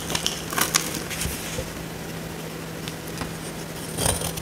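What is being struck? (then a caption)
Bar of soap scraped with a small blade. A small metal blade scrapes and cuts a dry, solid oval purple soap bar held in the hand, breaking off curls of dry soap. Crisp, bright crackling scrapes come in bursts near the start and again near the end, with quieter scratching between them over a steady low hum.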